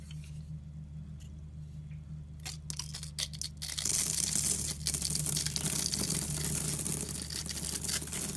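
A utility knife blade scrapes and carves the cross-hatched surface of a solid green rectangular bar of soap held in the hand, shaving off small cubes. After a quiet stretch over a low steady hum, a few sharp, bright scrapes sound out. The carving then turns into continuous, louder crisp crunching and scraping that lasts to the end.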